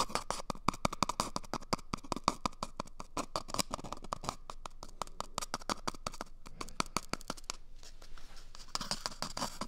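A small, empty, hollow brown cardboard toilet paper tube is held close to the mic and scratched with fingertips and nails. The result is a rapid, steady run of dry, crackly scratches with a faint hollow tone around 1.1 kHz. The scratching briefly softens near the end before picking up again with a brighter, hissier edge.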